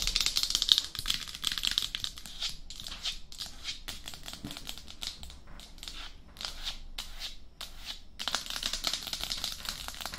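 Long acrylic blue-tipped nails tap quickly on the top and face of a life-size, hollow, matte black hard plastic dummy head microphone shell, away from its silicone ears. The result is a dense stream of rapid, bright, dry clicks in fast bursts with brief pauses, each tap dying away almost instantly.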